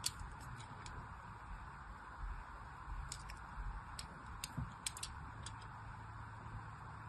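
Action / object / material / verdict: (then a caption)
scrape / soap bar / soap / none. A small pointed blade, held in a hand with long white nails, scores thin lines into the surface of a hand-sized solid pink bar of soap held in the other hand. Quiet, sharp, bright scratching ticks sound in scattered bursts over a low, steady background hum.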